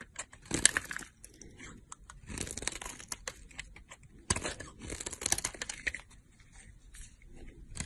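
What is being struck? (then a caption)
Bar of soap. A box-cutter blade carves a solid green bar of soap, held in a long-nailed hand, shaving off thin slices. Each cut gives a dry, bright, crackling scrape with no ring, in a run of separate strokes with short quiet gaps, the loudest around the start and midway through.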